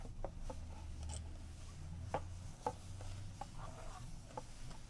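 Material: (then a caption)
Cardboard. Long nails and fingertips tap rapidly on a paper rulebook lying inside an open, medium-sized, hollow cardboard board game box, and on the box interior. The result is quiet, dry, short clicks with a hollow papery knock, over a steady low hum.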